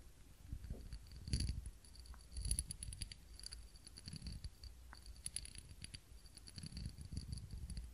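A small ribbed glass candle holder, filled with wax and holding a lit candle, is held in both hands and tapped with long fingernails. Quick, light clicking taps come in bursts, each with a short, bright glassy ring at a steady high pitch, over a soft low rumble.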